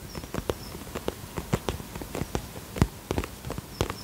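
Fingertips and nails tap rapidly across the front of a soft-sided, iridescent polka-dot holographic vinyl zip pouch held in both hands. About a dozen quick, quiet taps each give a dull low thud with a short crisp click that dies away almost at once. A faint high tone briefly sounds near the start and end.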